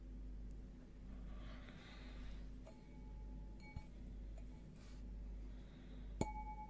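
Glass objects are tapped, giving a few light clinks with brief high rings over a low, steady hum. Two sharper taps stand out, the last ringing clearest.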